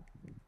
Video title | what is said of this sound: User iPhone Nyobain ITEL S23+ (live reaction & Unboxing)🤣 | kalau tadi enggak tak giniin ditektek apa sih Diketuk ya itu enggak kelihatan kalau dia plastik mirip metal